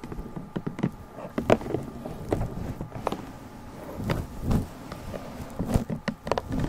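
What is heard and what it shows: A small, hollow, lidded pink cardboard gift box with a ribbon stripe, held in both hands, is tapped with long nails and fingertips. Quick, soft, dull taps and light clicks come in an uneven pattern, mostly low and muffled, with no ring after each tap.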